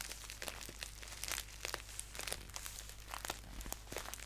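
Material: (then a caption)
Paper. Fingertips crinkle and scratch a hollow, filled green paper tea bag pouch as it is held upright and then laid down. The result is a steady run of quiet, bright, dry paper crinkles with sharp little crackling spikes over a faint low hum.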